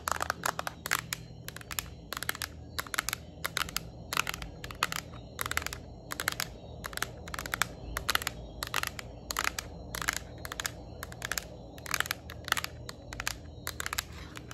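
Long nails rapidly tap and scratch the plastic back of a yellow Nintendo Switch Lite handheld game console. The result is a dense run of short, bright, crisp clicks and scrapes. Beneath them sit a steady low hum and faint high, thin tones.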